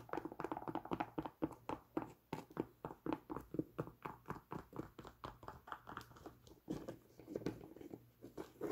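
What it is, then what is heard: Nubuck leather boot. Long nails scratch a tan nubuck leather Timberland boot and tug at its laces and tag. The result is a rapid, uneven run of soft, short, muffled scrapes and taps, mostly in the low midrange with little high-end.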